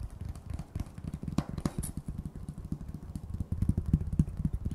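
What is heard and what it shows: A solid decorative sign made of thin painted wooden slats, reading "Apple Cider" for Thanksgiving, is held in one hand and tapped with long fingernails. The result is a quick, uneven run of short, dull knocks that are mostly low and thumpy, with each tap dying away almost at once and a few brighter clicks standing out.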